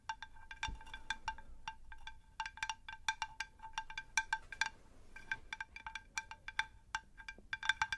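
A ceramic terracotta pot is tapped in a rapid, uneven series of light taps. Each tap gives a bright, chime-like ringing tone, centred around 1.5 kHz with high overtones, and fades quickly. A brief lull occurs near the middle.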